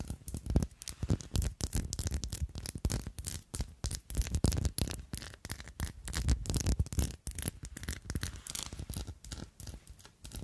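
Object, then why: Faceted glass perfume bottle with liquid inside. Long glittery acrylic nails tap and scratch a palm-sized, pink-tinted, diamond-faceted glass perfume bottle with a gold metal cap, filled with liquid and held in the hand. Dense, rapid clicks and scraping strokes run throughout, with a soft low thump under brief bright ticks that die away almost instantly.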